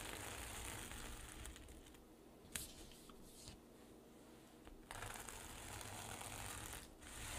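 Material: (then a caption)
Plastic sequins. Long nails scratch and drag across the plastic sequins of a flat, soft, hollow rainbow reversible-sequin pouch, flipping them silver. The result is a dense, bright, scratchy rustling that dips quieter in the middle, broken by a sharp click, then swells back to full hiss.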